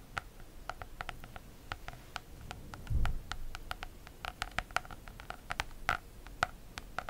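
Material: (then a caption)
Plastic. Long nails scratch and tap the embossed, textured holographic plastic cover of an A5 notebook in a rapid patter. Short, sharp ticks with a bright edge repeat quickly over a soft low rumble that swells briefly near the middle.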